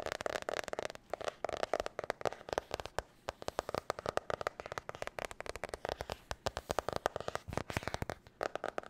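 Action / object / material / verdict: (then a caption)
tap / hard-cover spiral notebook / cardboard / none. Long nails tap and scratch quickly over a blue marbled hard-cover spiral notebook held up in the air, hitting both the cover and the spiral. The result is a fast, irregular stream of short, dry clicks and crackly scrapes centered in the midrange, each dying away almost instantly.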